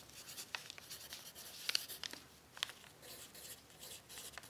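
A pencil tip scratches across a thin, crumpled brown paper sheet resting on a table during writing. The result is a quiet, bright, dry scratching hiss with several sharp crinkly ticks and almost no low end.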